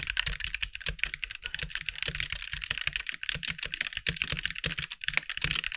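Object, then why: Plastic mechanical keyboard keys. A compact backlit mechanical keyboard with white plastic keycaps, resting on a desk, is typed on with the fingertips of both hands. A rapid, steady stream of short, bright plastic clacks fills the clip, with each keystroke dying away almost instantly and only a faint low thump beneath the high click.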